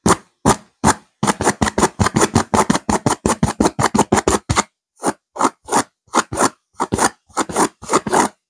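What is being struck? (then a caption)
Velvet-covered stuffed cushion. Fingernails scratch rapidly and aggressively across a stuffed pillow with a purple velvet cover and a silver geometric pattern. About 31 short, dry, rasping strokes come in quick succession, with a brief pause near the middle before the scratching resumes at a slightly slower pace.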